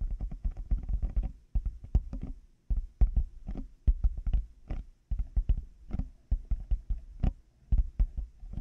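Fingertips and nails tap on the hollow plastic shells of black over-ear headphones fitted over a 3Dio mic. Rapid, irregular clusters of dull, dry taps come with brief pauses between bursts. The sound is almost entirely low and muffled, and each tap dies away almost instantly.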